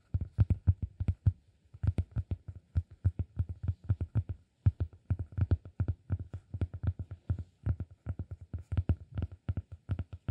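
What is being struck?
Cork disk.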